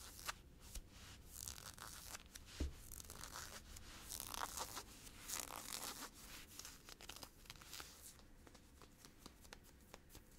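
A hand with blue-painted nails scratches and rubs the hip of olive ribbed nylon-spandex stretch workout shorts being worn, a tight, thin synthetic fabric. The result is a steady run of quiet, dry, bright scratching and rasping strokes, with short sharp scrapes over a faint low rumble.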